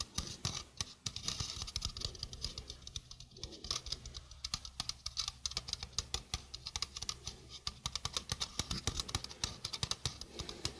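A small hollow stainless steel mesh sink strainer is held close to the mic while long painted fingernails tap and scratch its mesh and rim. The result is a rapid, irregular patter of bright, crisp clicks with short scratchy rasps over a faint low steady hum.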